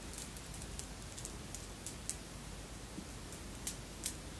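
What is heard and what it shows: A long necklace of red and clear beads, apparently glass, with metal links, is held hanging and handled with the fingers so the strands clink together. Short, bright clinks and ticks sound over a quiet, steady low hum, with the sharpest clicks near the end.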